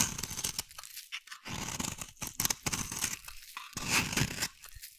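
A metal blade carves and scrapes a solid, hand-sized bar of brown soap. The result is a run of irregular, bright, crunchy scraping and shaving bursts with a slightly tearing texture, separated by brief quiet gaps.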